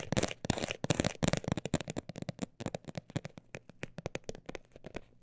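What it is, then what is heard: Textured cosmetic bag tapped. A textured cosmetic bag is tapped with fingertips in a rapid, dense flurry that then slows into sparser, distinct taps. Each tap is short and dry with a crisp, crinkly texture and a soft low thump, and the sound fades quickly between taps.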